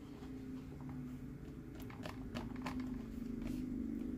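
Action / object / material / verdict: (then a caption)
tap / hollow plastic cup with straw / plastic / none. A green hollow plastic Mike Wazowski sipper cup with a straw on a purple base is tapped and scratched with fingertips and nails. Quiet, light clicks and brief scratchy ticks land over a steady low hum that runs through the whole clip.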